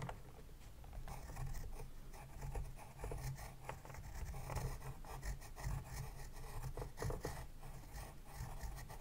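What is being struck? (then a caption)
Paper sketchbook page under a pencil. A pencil tip scratches across the page of an open spiral-bound paper sketchbook lying flat on a desk, moving in a writing motion. Quiet, dry scratching and rasping strokes come in short bursts over a steady low rumble.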